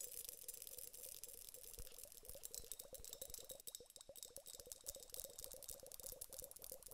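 A glass hourglass filled with gel beads and liquid is held in both hands and tilted while long nails tap rapidly on its glass bulbs. The result is a quiet, dense stream of short, bright clicks over a steady low hum, with a soft bubbling, rattling wash as the beads shift inside.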